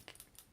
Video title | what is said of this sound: Tomy Toys | you shake it, you hear a little clicking to make it kind of mimic a spray paint can